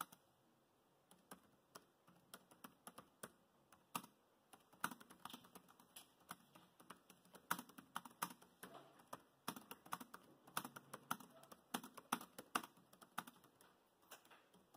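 Fingertips type fast on the plastic chiclet keys of a dark grey laptop keyboard. Dense, quiet, sharp key taps tumble out in quick irregular bursts, each click dying almost instantly over a faint steady hiss.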